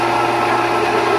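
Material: Nothing is struck.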